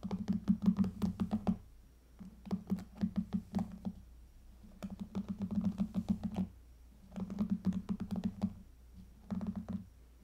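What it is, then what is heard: Plastic hairbrush bristles scratched. Long fingernails scratch the pink plastic bristle pad of a hairbrush held steady, making bursts of rapid, dry plastic clicking and scratching. The scratches come in about five clusters separated by short pauses, with a low hum around 184 Hz beneath them and almost no bright high content.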